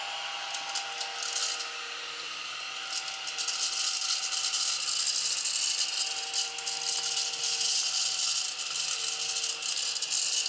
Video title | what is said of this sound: 🚨Must-Have Amazon Craft Room Finds! + 💡Genius DIY Craft You’ll Love! ✨ | when I shake it, there's no glitter coming out. You can hear it in there.